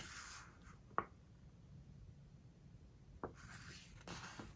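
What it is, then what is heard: Glossy paper book pages. Fingers grip, lift and turn a glossy paper page of a large open hardcover book, and fingertips rub the paper. Soft, bright rubbing hiss opens and closes the clip, with short, crisp snaps of paper between them over a faint low rumble.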